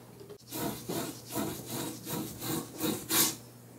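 A hand strokes and rubs a short, flat bristle brush across the grain of a large, flat wooden painting panel lying on a table; the panel shows visible wood grain and is painted pink with red drips and a yellow tape line. It produces a series of soft, dry, rasping brush strokes with a bright hiss, rising and falling in a loose rhythm. The last stroke is the loudest and brightest.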